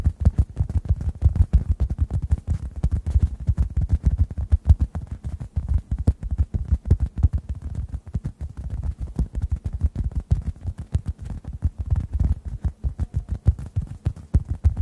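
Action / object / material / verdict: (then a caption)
tap / synthetic foam sponge / foam / none. A hand-sized, solid, dry yellow-orange synthetic foam sponge is held above two microphones and tapped with fingertips. The result is a steady stream of soft, muffled, low thumps, about three per second in an uneven rhythm. Each tap dies away almost instantly, with no bright edge at all.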